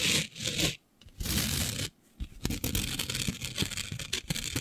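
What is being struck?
Fabric sheet covered in fine glitter.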